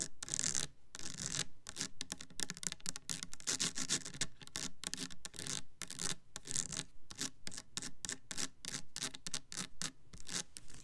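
Long nails tap and scratch the side panel of a clear plastic Bath and Body Works Kitchen Lemon foaming hand soap bottle full of yellow liquid. The result is a fast, uneven stream of crisp, dry taps mixed with bright, scratchy rasps, each dying away almost at once. Brief gaps break up the steady clicking.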